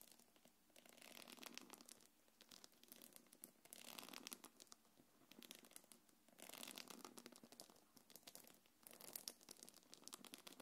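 Long nails scratch the front and top of a small quilted black leather-look belt bag. Repeated bursts of soft, bright rasping and crinkly scraping come and go in sweeps, with almost no low end. Each scratch stops dead, leaving short quiet gaps between the passes.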